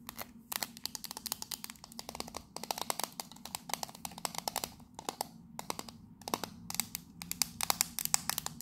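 Long nails rapidly tap and scratch the side of a hand-sized, hollow, octagonal printed metal Fortnum & Mason 'Victoria Grey' tea tin with its lid on. The result is dense bursts of sharp, bright clicks and scratchy ticks that die instantly with no ring, separated by brief pauses.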